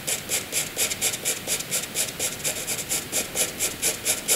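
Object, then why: Wooden graphite pencil on paper. A wooden graphite pencil hatches light strokes on white paper, its tip scratching the surface. About 17 quick, fairly regular strokes produce a bright, raspy scratching that sits almost entirely in the high range, with little low-end body.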